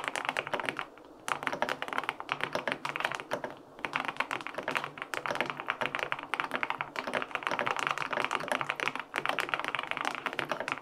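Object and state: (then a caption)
Aluminum mechanical keyboard being typed on. Fingertips type quickly on the plastic keycaps of a white-and-pink full-aluminum 65% mechanical keyboard with linear switches. The result is a dense stream of short, crisp clacks centered in the mid and upper range with almost no low-end thump, broken by brief pauses near one, four and nine seconds.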